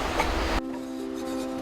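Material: Nothing is struck.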